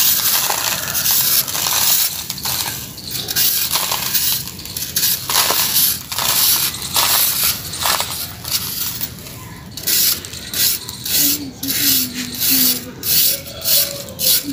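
A metal knife blade held in the fingers slices and scrapes through a small solid cylinder of pressed dry gray sand, already cut in half, that sits among similar cylinders on a sheet. It makes bright, gritty crunching and crackling, a dense crumble at first that breaks into separate crunchy strokes toward the end. The cylinder crumbles apart.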